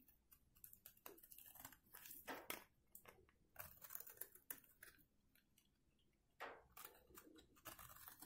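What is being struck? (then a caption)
Soap bar scraped with a metal blade. A metal box-cutter blade scrapes flakes off the face of a solid, dry white soap bar held in one hand, over a pile of shavings. Short, dry, crunchy scratching strokes come in quick bursts, bright and hissy with little low end. Each stroke stops almost instantly.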